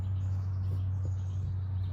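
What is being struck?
Nothing is struck.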